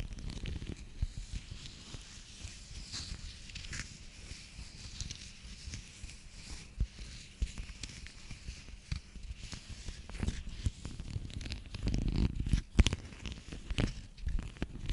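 Long nails tap and scratch a hand-sized pill blister pack, its plastic bubbles set on a foil backing. A steady stream of quiet, crinkly scratches and clicks runs over a low rumble, with brighter sharp taps standing out. The activity swells into a louder, denser cluster of scratching and taps near the end.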